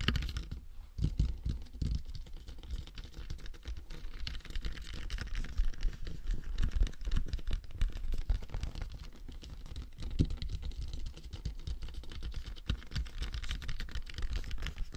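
Fingertips of both hands tap rapidly on the crown and face of a matte black, hollow, hard plastic dummy head microphone. The result is a dense, continuous patter of short, dull, low taps with almost no ring and very little high-end brightness.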